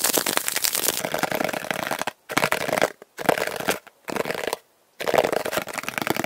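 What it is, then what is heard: Plastic storage box. A small, open, hollow blue plastic storage box, held in both hands, is tapped and scratched with fingertips and nails. Fast, dense bursts of crackly tapping and scratching come in quick runs, broken by short silences.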